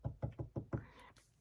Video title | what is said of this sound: Saint Laurent Small Loulou Unboxing (#3/18) PLUS Vlog Sale (SOLD), WIMB, Mod Shots!!! | I just knocked on some plywood